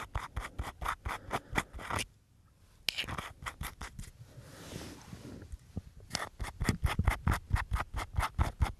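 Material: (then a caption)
Aluminium. A small, hollow, round silver aluminium tin with a screw lid is held in both hands while fingertips twist and rub the lid against the body, making a rasping scrape. Quick bursts of bright scratching come in a loose rhythm for about two seconds, then softer, quieter rubbing follows, and a run of sharper, louder rasps closes the clip.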